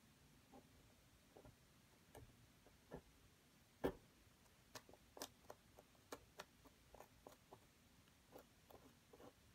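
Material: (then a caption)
Plaster. A wooden stick held in the fingers repeatedly scrapes and picks at a solid, dampened plaster dig block while the hand braces the block throughout. The result is a quiet, irregular series of short dry ticks and scratchy clicks with little ring, with one sharper pick standing out near the middle.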